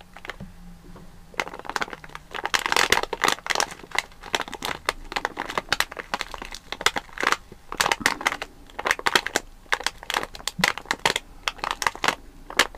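Fingertips and nails press, rub and crinkle a full, sealed plastic foil bag of watermelon jelly candies resting on a mat. The result is a dense run of sharp, bright crinkles and crackles in quick bursts, each dying away almost at once with little low end.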